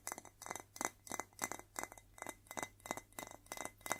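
A white ceramic plate is tapped and scratched in a quick, uneven series of light clinks. Each tap gives a short, bright ring with a steady tone near 2 kHz, and soft scratching fills the gaps between taps at a quiet overall level.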